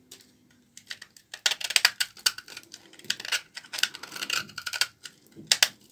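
A blade scrapes shavings off a small remaining piece of an old, solid, dry laundry soap bar held in the fingers. The result is a rapid series of short, dry, crisp scraping bursts that are bright and high, with almost no low end and no ring between strokes.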